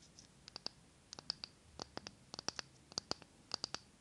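Long nails tap and scratch the glass sides and rim of a small glass jar candle full of solid green wax, held near the mic. About 19 sharp, bright clicks come in irregular bursts, each dying almost instantly, with faint scratching between them and very little low end.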